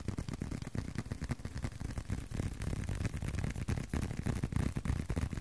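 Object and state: Leather card wallet.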